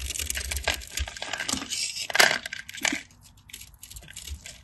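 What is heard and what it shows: A craft knife blade scores and carves a grid into a solid, cream-colored, palm-sized bar of dry soap held in the hand, so crunchy cubes break off. Dense, bright scratching and crisp cutting crackles run throughout, with the loudest crunches around the middle before the sound thins out toward the end.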